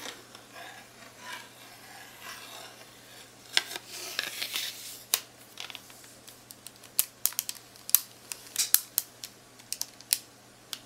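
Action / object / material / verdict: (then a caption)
tap / plastic graphing calculator / plastic / none. Long nails rub and tap the plastic keys and casing of a handheld black plastic graphing calculator with a screen and arrow keys. Soft, hissy scratching and a brighter swishing rub come first, followed by a series of sharp, bright, dry clicks and taps that stop instantly with no ring. The whole clip stays quiet.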